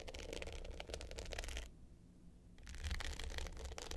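Long pointed nails scratch the dark blue glitter top of a small rectangular hollow hard-case clutch with a gold metal frame, lying flat. It makes a dense, bright, gritty rasping over a steady low hum. The scratching stops briefly midway, then resumes just as busy.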